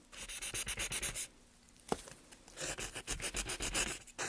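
A small gouge scrapes and scratches along the carved surface of a solid light softwood board held in gloved hands. Quick, dry, bright rasping strokes come in a steady rhythm, then pause with one sharp tick. A second run of strokes follows.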